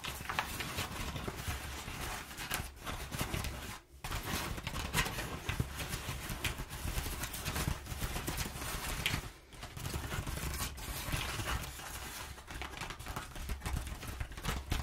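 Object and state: Crumpled kraft packing paper being scratched.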